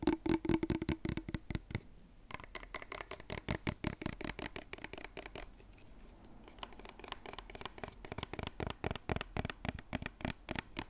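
A white, medium-size cosmetic lotion bottle with a silver pump cap, likely plastic and of unknown fullness, is held in both hands and tapped and scratched with fingertips and nails. Quick, dry clicks and taps come in rapid bursts, with a faint low tonal ring in the first second and softer scratching stretches in between. Each tap dies away almost instantly.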